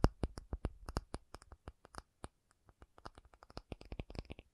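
An acrylic object is tapped in quick, irregular succession, about 25 short, dry taps over several seconds. Each tap is a soft, low thud with a faint bright click on top, dying away almost instantly. The overall level is quiet and close.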